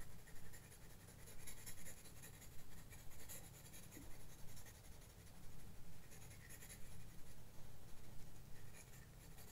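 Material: Paper.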